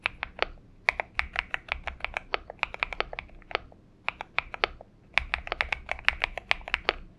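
Fingertips of both hands type on a purple Xinmeng M71 mechanical keyboard with PBT keycaps. About 39 short, bright, clacky keystrokes come in quick runs with brief pauses near 4 and 5 seconds, and each stroke dies away almost instantly over a faint low hum.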